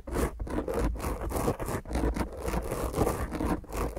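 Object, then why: Foam microphone windscreen. Long grey nails on both hands scratch the top of a black dome-shaped foam microphone windscreen in quick strokes. The result is a continuous, rough, raspy scratching with strong low-end rumble and little brightness, surging and dipping with each stroke.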